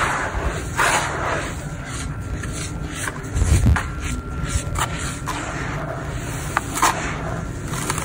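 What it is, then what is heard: Dry charcoal-sand clump crumbling. Both bare hands squeeze and rub a hand-sized, solid, crumbly clump of dry grey charcoal-sand mix with the fingertips over a blue plastic tub full of loose sand, so it crumbles and pours down in streams. The sound is a steady, dense, low granular rustle and scrape with grainy crackle, a faint thin tone underneath, and a few louder rushes as bigger streams of sand fall.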